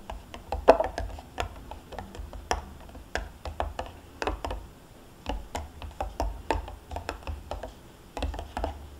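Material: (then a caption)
Plastic, foil. Long painted nails tap and scratch the foil lid of a small sealed plastic yogurt cup standing on a cloth, with a spoon lying untouched beside it. A rapid, uneven series of short, dry clicks and crinkly scratches is heard, each dying away almost instantly over a faint low rumble, with brief pauses between bursts.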